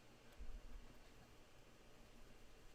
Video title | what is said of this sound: Makeup Show for missing last Friday Scuba-Speed 5-18-2020 | none of the buttons rattle no matter how much you shake it you're not gonna get any button rattle out of these